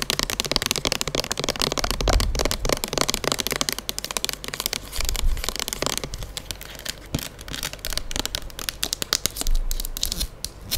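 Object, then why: Plastic pump bottle filled with liquid. Long nails tap and scratch a square plastic pump soap bottle with a label, filled with gold/amber liquid and held in the hand. A rapid, dense stream of sharp, dry clicks and crackling scrapes runs throughout, bright and crisp on top with a low, soft rumble underneath. The taps cluster in quick bursts, each one dying away almost instantly.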